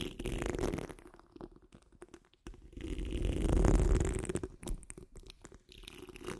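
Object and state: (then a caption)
Metal mesh microphone grille being scratched. Long nail tips on curled fingers scratch across the rounded, hollow steel wire-mesh grille of a large condenser microphone. The result is a dense, rumbling, crackly scraping made of rapid, irregular strokes, heavy in the low end with a rough upper hiss. It swells loudest around the middle and drops out in brief pauses between passes.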